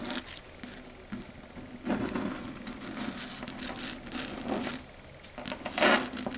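Long red acrylic nail tips tap and scrape across a flat dark grey chalkboard surface. Light taps mix with bright, hissy scraping strokes that rise and fall in loudness, over a steady low hum. The loudest scrape comes near the end.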